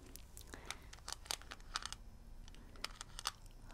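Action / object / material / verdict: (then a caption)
tap / small shield-shaped metal mint tin / metal / none. Fingernails tap and scratch the lid of a small, hollow, shield-shaped metal mint tin held up in one hand. The sound is a quiet run of sharp, bright clicks with a slight metallic tick and scraping, each dying away almost at once.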